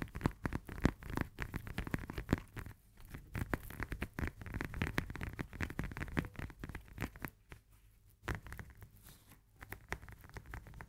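Long nails tap quickly on the peel of a whole, firm fresh lemon held in both hands. The result is a dense, dull patter of short, low-heavy taps with little brightness. It comes in rapid bursts broken by brief quieter gaps.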